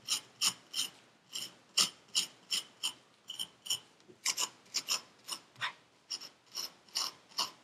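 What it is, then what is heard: Kinetic sand being scraped. A gloved hand rakes a metal needle tool across purple kinetic sand packed into a paper cup, cutting grooves in the surface. About 22 short, dry, bright scrapes follow in a loosely regular rhythm, each a gritty hiss with almost no low end that stops quickly with no ring.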